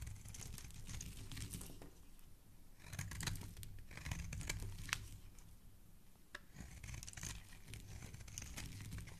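A dark blade shaves and scrapes a solid, hand-sized white soap bar, held by fingers with dark painted nails, into flakes. Dry, crisp crackling and tearing scrapes come in uneven strokes over a low rumble, with a few sharper snaps standing out.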